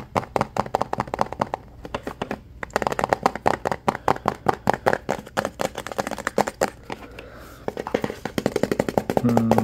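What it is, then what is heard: Plastic tub. Fingertips and nails tap rapidly on the sides and label of a hollow, hand-sized white OxiClean plastic tub with a blue lid. Dozens of quick, dry, hollow clicks follow one another in uneven bursts, each dying away almost instantly, with a brief steadier rubbing texture at the very end.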